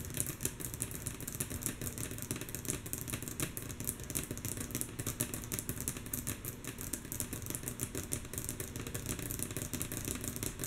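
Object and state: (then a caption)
Wooden tabletop tapped with fingernails. Long natural fingernail tips of both hands tap rhythmically on a solid, flat, light wooden tabletop. The mostly soft, quick clicks come in a steady, dense stream, each short and bright with a faint woody knock, over a low steady hum.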